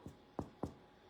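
A freshly baked loaf of homemade bread, just taken out of the oven, is tapped on its underside to check whether it is properly baked underneath. Three short, dull, hollow knocks are heard, the first softer than the other two, each dying away almost at once with little high content. The hollow sound shows the loaf is well baked underneath; it does not stick and looks good on the bottom.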